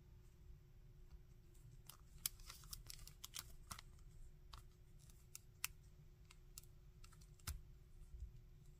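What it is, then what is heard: Plastic action figure. Fingertips tap, scratch and bend the joints of a hard plastic Shocker action figure, moving over its textured leg and head. Quick, sharp, bright clicks and scratchy ticks sound over a steady low rumble and a faint, constant hum.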